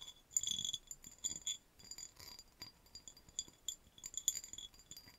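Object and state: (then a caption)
Cut glass vase tapped with fingernails. A hollow, empty cut-crystal vase, tilted and turned upside down, is tapped and scratched with long nails across its patterned surface and base. The result is a quiet series of short, bright glassy clinks and scratchy ticks with a thin high ring that dies away almost at once.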